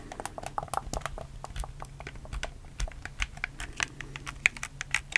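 A black, hollow plastic PS4 game controller is held in both hands while fingertips click its buttons and thumbsticks close to the mic. The result is a quick, uneven run of sharp, bright plastic clicks that stop instantly, over a faint steady low hum.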